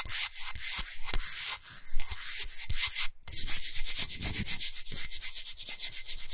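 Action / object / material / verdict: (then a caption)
scrape / rock salt block / rock salt / none. Hands rub and fingernails scratch quickly across a large, flat, solid pink Himalayan salt block. The result is a rapid, rhythmic series of dry, gritty, bright scratching strokes, with a soft low thump under some of them. There is a brief pause partway through before the fast scratching resumes.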